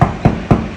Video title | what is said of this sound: Interior Plaster one coat game changer? | it's Hollow if it was for schools hospitals ret ball courts and government buildings it wouldn't sound hollow like this I can hear the sheetrock underneath